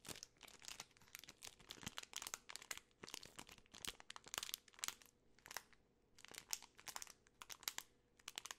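A full Twix bar in its plastic film wrapper is turned over and crinkled by fingertips and long nails. Quiet, bright, crackling bursts come in irregular clusters throughout, with almost no low end and no lingering ring.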